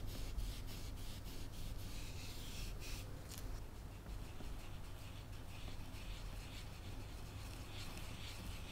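A cotton swab on a wooden stick rubs solvent in small circles over the eyes of a face on a flat oil painting on canvas. Soft, dry scrubbing strokes come in quick repeated passes over a steady low hum, with faint bright scratchy texture and no distinct impacts.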